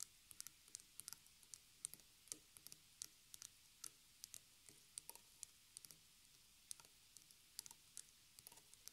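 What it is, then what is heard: Small stretched canvas on wooden frame. Fingertips and long nails tap a small white stretched canvas on a wooden frame, lying flat on a wooden table and later turned back side up to show the hollow wooden frame. The result is an uneven stream of quiet, sharp, bright clicks and ticks that die away almost instantly, with little low-end body.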